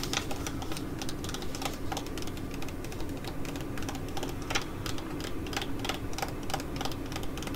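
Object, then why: Foil-laminate sheet mask pouch. Long nails tap and scratch across the printed front of a filled white foil-laminate sheet mask pouch while it is held. Quick, irregular crisp ticks and bright scratchy clicks come steadily throughout, over a constant low hum.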